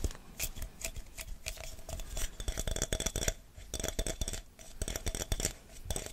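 Fingertips and nails rapidly tap and grip a glass jar partly full of chocolate hazelnut spread with a paper label. The result is a fast, irregular run of short, dry clicks and ticks with brief rubbing in between and almost no ring after each tap.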